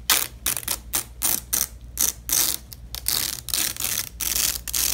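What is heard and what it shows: A purple nylon hook-and-loop (velcro) strip is pressed together and peeled apart by gloved hands on red fabric. It makes a series of bright, crackling ripping bursts, some short and some drawn out, over a faint steady low hum.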